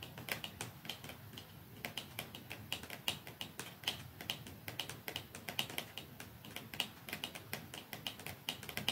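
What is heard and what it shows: Long fingernails tap steadily on a small, narrow, dark cardboard mascara box lying flat on top of a second, untouched box below. The taps are quick, dry, bright clicks that die away almost at once, with a tonal tick near 2.9 kHz and little low end, repeating in an uneven rhythm throughout.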